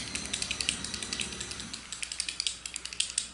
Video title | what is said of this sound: First Impressions Tutorial | You can hear like a little ball in that.